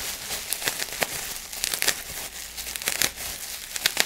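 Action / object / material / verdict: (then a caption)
scrape / plastic bubble wrap sheet / plastic / none. A large sheet of clear plastic bubble wrap is held in both hands while fingers crinkle and pinch the bubbles. Bright, dry crinkling is heard, broken by about a dozen short, sharp snaps.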